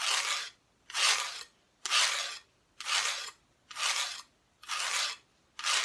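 A small wooden Santa Christmas decoration is scratched in steady, evenly spaced strokes, about one per second. Each stroke is a bright, dry, hissy rasp with a sharp start and a quick fade, separated by near silence.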